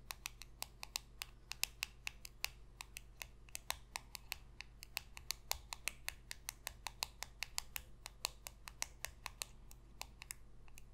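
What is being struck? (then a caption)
Glossy cardboard trading card. Long pink acrylic nails rapidly tap a small, thin, solid glossy cardboard football card (No. 27) held in one hand. About fifty sharp, bright, typing-like clicks sound in quick succession over a low, steady hum. Each click dies away almost instantly.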